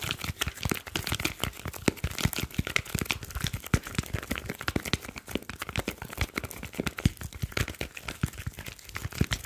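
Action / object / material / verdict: tap / smartphone with glass screen and metal back / metal and glass / none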